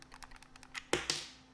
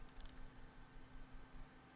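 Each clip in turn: First: wireless mouse with slight internal rattle from loose receiver. Second: gaming mouse with no internal rattle.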